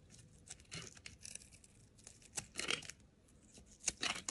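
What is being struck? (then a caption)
Soap bar shaved with a steel blade. A steel utility knife blade shaves thin, curling slices off a solid pale yellow soap bar held in the hand. The result is a series of quiet, bright, crisp scraping and tearing bursts with almost no low end and no ring.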